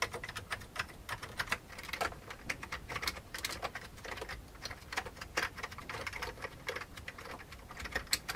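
Fingertips of both hands type on the keys of a full-size old beige plastic computer keyboard with a hollow plastic case. The result is a steady stream of quick, uneven, bright clicks and clacks that die away almost instantly, with occasional louder key strikes.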